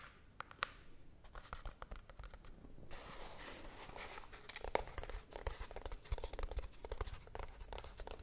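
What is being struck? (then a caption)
Small cardboard box. Long blue-painted nails scratch and tap the flat side of a small, hollow brown cardboard box held up in the air. Quiet, dry taps and clicks mix with papery, crinkly scratching that swells into a steady rasp midway through. Each tap dies away at once, with no ring.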